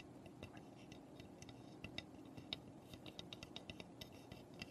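Long painted nails tap rapidly on the roof and front of a small, hollow birdhouse made of light unfinished pine. The quiet, dry clicks are short and bright, with a sharp tick near 3.8 kHz over a soft low rustle, and each tap dies away almost instantly.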